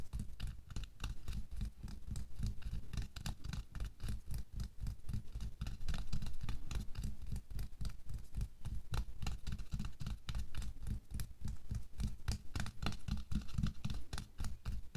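Bare fingers with short nails scratch and tap across a thin pink latex or nitrile glove worn on a hand lying on a white table, working over the back of the hand and the wrist. The result is a quick, irregular stream of soft, dry rubbery scratches and pats with a dull, low thump under each touch and little ring.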